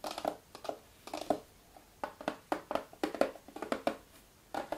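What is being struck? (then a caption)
Cardboard jigsaw puzzle box. Both hands tap and scratch the lid of a small, closed, red printed cardboard jigsaw puzzle box, presumably holding puzzle pieces, lying flat on a wooden table, using short fingernails and fingertips. Quick, dry, hollow taps and light scratches come in bursts separated by brief pauses, each dying away almost instantly with a mid-pitched papery tone.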